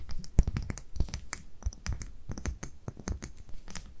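Long nails scratch the paper label and tap the glass of a small amber (brown) glass dropper bottle held in both hands. A quick, uneven series of short, dry taps and scratches sits over a soft low rumble, with faint bright clicks on top.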